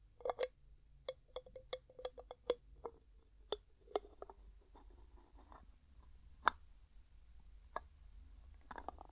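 A medium, hollow, mostly empty clear glass jar with a gold metal screw lid is tapped with fingertips and nails, and the lid is twisted. Quiet, dry clicks and taps with a ringing tone around 500 Hz come in a quick run at first, then spread out. Brief scraping rustles of the lid turning fill the gaps, with one sharp, brighter tap near the middle.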